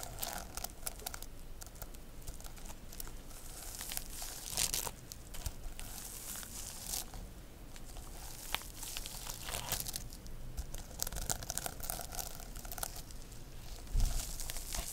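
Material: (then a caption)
Plastic sequins. Long nails scratch and tap across a rainbow plastic sequin notebook cover held close. The result is a dense, continuous crinkling rustle with bright, sharp clicks scattered through it. A few louder taps stand out near the middle and end.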